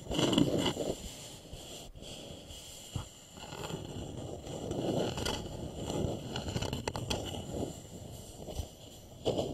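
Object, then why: Small wooden bowl. A small, polished, hollow wooden bowl rests upside down while fingertips and short nails tap and scratch its outer surface, with hands partly cupping it. Soft, dry scraping and scratching mixes with occasional light taps that give a low, hollow knock. A few brighter scratches stand out near the start and end.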